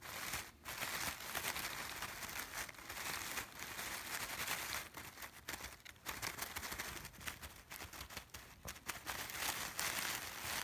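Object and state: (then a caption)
Artificial fabric sunflowers. Fingertips rub and scratch over the fabric petals of a bunch of artificial yellow sunflowers, making a steady, bright crinkling and rustling. The sound is continuous, with brief dips, and most of its energy sits in the high range with little low end.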